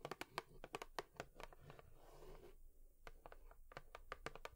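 Long nails tap on a cardboard tissue box in quick, uneven bursts of short, dry clicks with a bright edge. A softer, scratchy rustle fills the brief gap between the bursts. Each tap stops almost at once, with no ring.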